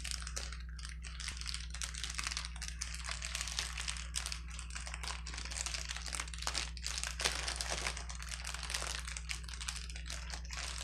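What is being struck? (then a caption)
Plastic bubble wrap sheet. A flat sheet of clear plastic bubble wrap with hollow air-filled bubbles lies on a table and is pressed and rubbed by a woman's fingertips and palms. It gives a steady, dense, bright crinkling with small pops throughout. A constant low hum runs underneath.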